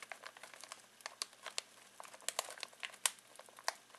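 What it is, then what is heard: Plastic snack bag crinkling. Fingertips scratch and crinkle a full foil-plastic snack bag of pistachios. The result is a quiet, irregular run of sharp, bright crackles and crinkles that stop almost instantly and carry no low end.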